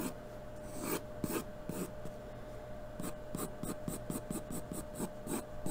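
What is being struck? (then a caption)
Graphite pencil on a paper drawing sheet. A graphite pencil is drawn in continuous shading strokes across a flat sheet of white drawing paper taped to a cardboard surface and held steady by hand. Soft, bright, scratchy rasps start as a few slow, separate strokes, then become a quicker, steady back-and-forth rhythm over a faint constant hum.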